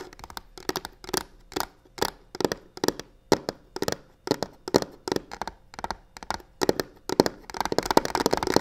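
Long nails scratch quickly along the textured sides of a hollow black croc-embossed faux leather box with stitched seams. The result is a steady run of short, dry, rasping strokes with a bright, papery edge and almost no ring. The strokes grow denser and more continuous toward the end.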